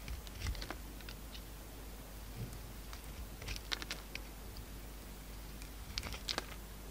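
A solid oval soap bar, green marbled on the outside and peach inside, is held in the palm and shaved with a utility knife blade. Soft, dry scraping and crisp crackling clicks come in scattered bursts, bright and very short with almost no ring, over a low, steady hum. The overall level stays quiet.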